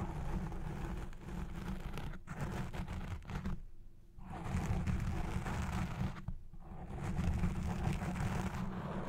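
Long red fingernails on both hands scratch the front and sides of a black foam windscreen on a Blue Yeti Pro microphone. The result is a dense, rumbling, crackling scrape, heavy in the lows, that runs almost continuously. It drops out briefly around 2 seconds and more clearly near 4 and 6.5 seconds before resuming.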